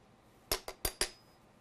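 A metal body part of a DJI Phantom 4 drone, a part that was plastic on the Phantom 3, is tapped lightly four times with short gaps between taps. Each tap gives a bright, light metallic clink that dies away quickly, leaving a faint high ring after the last one.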